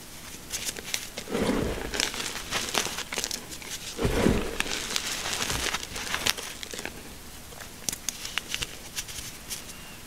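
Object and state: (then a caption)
Crushed gym chalk powder being scraped. Fingertips rub and scrape through a flat layer of crushed gym chalk (magnesium carbonate) powder mixed with colored bits. The result is a soft, bright, crumbly hiss with two fuller scraping swells and scattered sharp little crunches and ticks.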